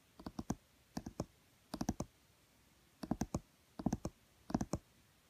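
Fingertips and nails tap on the green illustrated page of a small, thick children's board book with laminated cardboard pages, lying flat and solid on a woven mat. Six quick bursts of three or four soft, dull clicks follow one another at an uneven pace, each with a low body and a brief, bright tick that dies away almost at once.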